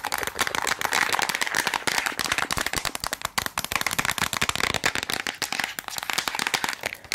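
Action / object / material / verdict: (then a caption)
tap / small plastic tablet container / plastic / none. Long acrylic nails tap and scratch rapidly on a small rectangular Bullrich tablet container with a white plastic body, blue lid and paper label, hollow with tablets inside. The result is a dense, continuous stream of sharp, dry clicks and scratchy rasps that fade almost instantly, bright and hollow-sounding with a midrange tone around 1 kHz and almost no low end.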